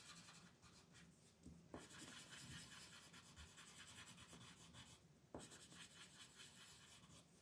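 A red wooden colored pencil rubs hard across a flat white paper mandala coloring page held by fingertips. The result is a steady, bright, dry scratching with rhythmic strokes and a couple of sharper, louder scrapes where the pencil digs in.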